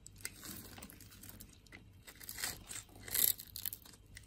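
A palm-sized, solid pink-and-white striped bar of soap is held in the palm and scraped with a metal blade, shaving off curls and crumbs. Quiet, dry, bright scraping and crackling runs throughout, with short crunchy bursts and the loudest scrape near the end.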